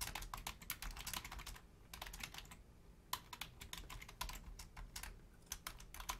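Fast two-handed typing with long nails and fingertips on a black plastic Logitech full-size membrane keyboard, with no mouse clicks. Bright, crisp key clacks come in quick bursts, broken by two short pauses, over a quiet low background hum.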